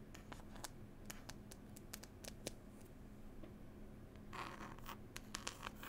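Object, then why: Cloth-covered hardcover book. Long pointed nails scratch and tap on a solid, closed hardback book, "Passenger Whispers," with a green cloth cover and a pasted illustrated label. Quiet, dry scratching runs throughout, broken by sharp, bright clicks that die away quickly. A denser, rougher burst of scratching comes near the end over a faint steady low hum.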